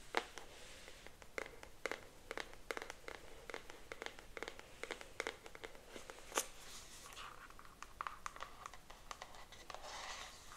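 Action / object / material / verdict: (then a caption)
tap / cardboard box / cardboard / none. Long almond-shaped acrylic nails tap and scratch the surface of a pink printed cardboard retail box, held upright, with a hairbrush visible through its front. Quick, sharp, dry clicks come in an uneven stream, with a brighter scratching rustle toward the end.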